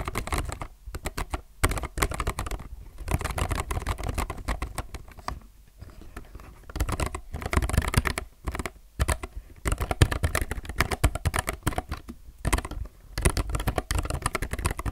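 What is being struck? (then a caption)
Low-profile mechanical keyboard with plastic keycaps. Fingertips of both hands type continuously on a low-profile mechanical keyboard with plastic keycaps. The result is a rapid, steady stream of short, dry clacks with a deep, thumpy body. Brief pauses break the typing now and then.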